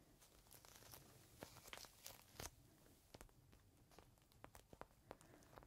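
A small clear plastic bag holding a folded green microfiber cloth is held in the hand, squeezed, and tapped with the fingertips. It gives quiet, bright, crisp crinkling with scattered sharp crackles and taps over a faint low rumble, each snap dying away almost instantly.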